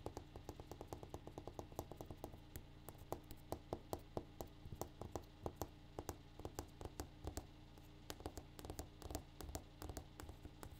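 A granite countertop is tapped in a rapid, uneven series of dozens of short, dry taps with almost no ring. Each tap lands as a brief click over a steady low hum.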